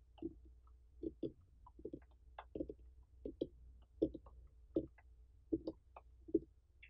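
Long fingernails and fingertips of both hands tap and scratch the ribbed rind of a large, uncut orange pumpkin with a dry stem, its rind intact and not hollowed. Quiet, short, dull taps with a mid-low tone land at an uneven pace, mixed with faint brighter scratchy clicks. Each tap dies away almost at once over a low steady background hum.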